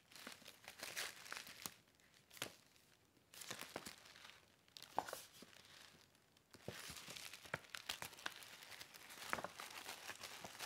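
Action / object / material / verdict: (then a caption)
scrape / paper gift bag / paper / none. A medium paper gift bag with an old world-map print and black rope handles, hollow and empty, is held, opened and rubbed with fingertips and nails. It gives off bursts of bright, dry crinkling and rustling with sharp crackles, broken by a few short quiet pauses.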